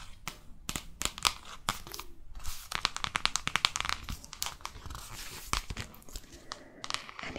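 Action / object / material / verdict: scrape / paperback book cover / paper / none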